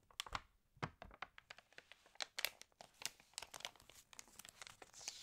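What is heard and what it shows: Long nails scratch and fingertips turn and crinkle the wavy pages of an open, water-damaged glossy paper fashion magazine. The result is a quiet, rapid run of sharp, bright crackles and rustles that die away almost instantly, ending in a steadier papery hiss.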